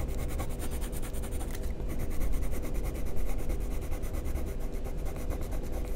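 A black wooden pencil, held by a hand with long painted nails, rubs and scratches across a sheet of white drawing paper in a sketchbook lying flat on a table, shading feather strokes. A steady, rhythmic scratchy rasp of rapid strokes runs throughout over a low, dull rumble, swelling slightly in the middle.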